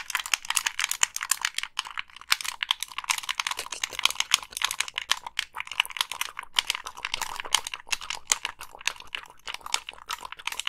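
A hollow black Xbox 360 plastic gamepad has its casing tapped and its buttons pressed by long pink nails. A dense, continuous run of sharp, bright plastic clicks and taps fills the clip with almost no low end, and each one dies away almost instantly.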